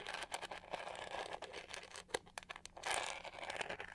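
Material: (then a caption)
Plastic. Long painted fingernails scratch across the raised pyramid pattern on the hollow back shell of a hand-sized pink-to-gold plastic detangling hair brush. The result is a steady stream of quiet, dry, crinkly scratches with quick bright clicks and almost no low end.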